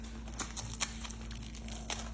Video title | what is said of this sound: This recipe is a winner | you can hear how crispy that bread is on the outside